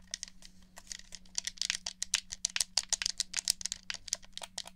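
Fingers tap, click the buttons of, and rattle a black hollow plastic PS4-style gamepad held near a dummy head. The result is a rapid, uneven run of dry, bright plastic clicks and taps that stop instantly, over a faint steady low hum.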